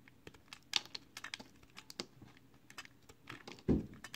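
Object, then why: Bar of soap shaved with a blade. A box cutter blade shaves the top edge of a small, solid, pale green soap square held in the fingers. A quick run of short, crisp, bright scraping ticks is heard, each cutting off almost instantly, with a louder, duller thump near the end.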